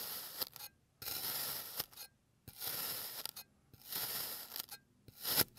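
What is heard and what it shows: A clear plastic blade finishes slicing a blue kinetic sand bear shape on a green surface, then cross-cuts through the slices. Each stroke makes a soft, gritty, bright scraping hiss with little low end, separated by short silences, and the last cut rises a little louder before stopping.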